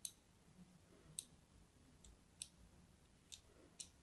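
A solid pink-and-white striped soap bar, held in the hand, is scored and cut with a thin blade. Several sharp, bright clicks snap out at spaced intervals over a faint scratchy hiss, each one dying away almost instantly.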